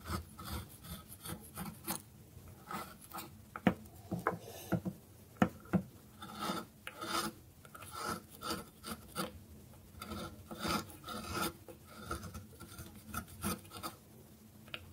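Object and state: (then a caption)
Dry bar soap scraped. A solid bar of dry soap held on a wooden board has its face scraped with a metal blade in repeated rasping strokes. Each stroke gives a short, dry, gritty scrape with a low body and a faint ringing tone, with brief quiet gaps between strokes.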